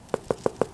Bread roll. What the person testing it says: when you tap it in the center and it sounds hollow then you know it's done